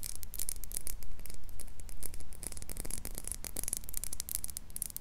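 Long nails tap and scratch the glass sides and silver screw lid of a small, empty, clear glass jar as it is rotated close to a microphone. Quick, irregular, bright clicking taps and scratchy rasps repeat over a low steady hum.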